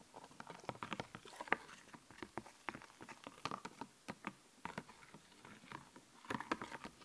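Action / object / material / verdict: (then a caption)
scrape / puffy plastic sticker sheet / plastic / none. Nails and fingertips scratch and tap across a raised, glittery, puffy plastic sticker sheet held upright. It makes quiet, dry, crisp clicks and scratchy strokes in quick, uneven bursts, mostly in the mids and upper mids around 1.6 kHz with little low end. Each tap dies away almost instantly.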